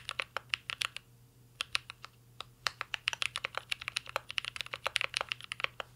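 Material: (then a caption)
Metal, plastic. Two hands type steadily with their fingertips on a full-size mint-green Cyberboard R3 mechanical keyboard with a metal case, plastic keycaps and Holy Panda switches, resting on a desk. Quick, bright, clacky keystrokes come in uneven bursts, with a short lull of a second or so near the start. Each click dies away almost at once, leaving no low-end thump.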